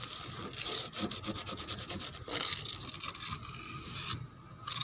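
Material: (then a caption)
Wood. Fingernails scratch along a painted brown wooden door panel and its frame edge, where some paint is peeling. Quick, dry, rasping strokes repeat in bursts, with a bright, hissy texture and almost no low end. There is a brief quiet pause near the end before the scratching starts again.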